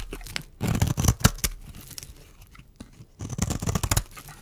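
A metal blade shaves curls off a solid, dry pink rectangular bar of soap held in the hand. Dry, crunchy scraping and tearing rasps come in a dense burst, fade to quieter scratches, then return in a second burst, with low body and bright crackling edges.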